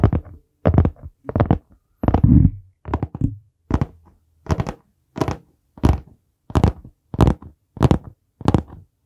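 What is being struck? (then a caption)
Hardcover notebook with board cover. Fingertips tap the solid board cover of a dark brown hardcover notebook held in both hands, and the notebook is then tilted toward the microphone. The result is a series of dull, low thumps with very short decay, arriving at an uneven pace with brief silences between bursts.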